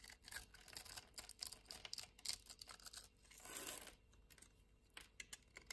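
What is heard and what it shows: A utility-knife blade scrapes the diagonally scored surface of a solid white soap bar held in the hand, shaving it into crumbly flakes. The sound is a quiet, bright, dry crackle of rapid scratchy ticks, with a smoother, longer scrape swelling near the middle before the crisp flicking resumes.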